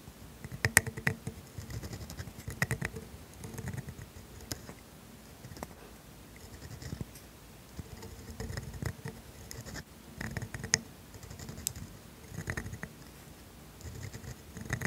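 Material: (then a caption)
Steel, paper. A steel dip pen nib, held in a hand with long pink nails, drags across thin grid paper writing cursive. Quiet, fine scratching comes in bursts of strokes with sharp nib ticks and a soft low rumble beneath, separated by brief near-silent pauses.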